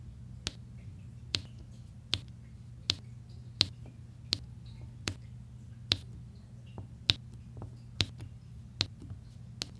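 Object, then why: Resin drills on a diamond painting canvas tapped with a plastic pen. A pink plastic drill pen taps small solid resin drills on a flat diamond painting canvas, including a yellow section, and a white plastic roller tip presses across the rows with light scraping. Twelve short, sharp, bright clicks ring out at a steady pace, each dying almost instantly over a constant low hum.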